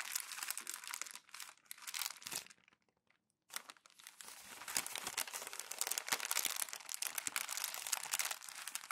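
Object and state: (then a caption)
Glossy magazine paper being crumpled. Glossy magazine pages are crumpled and pressed by fingers and palm on a white desk. Dense, bright crinkling and crackling runs throughout, with a brief silent pause about a third of the way in before the crumpling resumes and grows louder.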